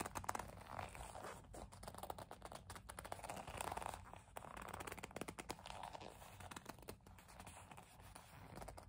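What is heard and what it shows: Long nails grip, rub and scratch a hollow black leather kiss-lock coin purse, making soft squeaky leather sounds. A dense, quiet stream of fine scratches and creaks swells and fades in waves, centered in the midrange around 1 kHz with some bright edges.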